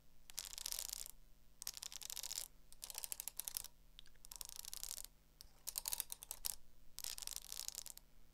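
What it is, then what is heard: Hardcover spiral notebook. Long acrylic nails tap quickly on the cover and spiral of a small black hardcover spiral notebook. The result is six bursts of rapid, crisp, bright clicking separated by short pauses, over a faint low steady hum.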